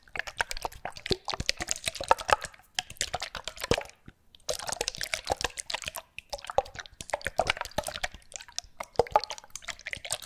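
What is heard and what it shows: Small bottles with liquid inside are shaken close to the microphone, making rapid sloshing, dripping and plopping sounds. Dense bursts of short, bright liquid splashes come in three stretches, with brief pauses near 4 and 6.5 seconds. The sloshing confirms that the bottles contain liquid.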